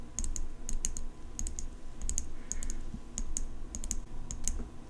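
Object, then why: Steel folding pocket knife. Long nails tap the blade and engraved handle of an open steel folding pocket knife as it is turned. The result is a quick series of bright, sharp clicks with very short ring, clustered in bursts over a steady low rumble.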